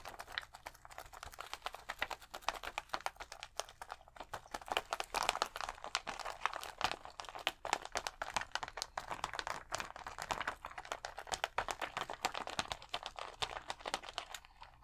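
Fingers scratch and tap across the rows of colored acrylic rhinestones on a thin plastic sticker sheet held against the chest. The result is a dense, continuous stream of quick, dry clicks and crinkly scratches, bright and crisp with almost no low end. Each tick stops almost instantly.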